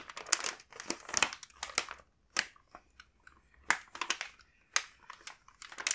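A large, full printed plastic bag of kinako mochi rice crackers is handled and rubbed with the fingertips. It gives off bursts of bright, dry crinkling with short pauses between them.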